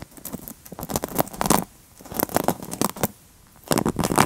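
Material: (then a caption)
Plastic. Long nails scratch and rake along the black plastic bristles of a wooden paddle hairbrush held sideways close to the microphone. Dry, crackling, bristly scrapes come in three busy bursts with brief quiet pauses between them, each a rapid patter of small clicks with bright high edges.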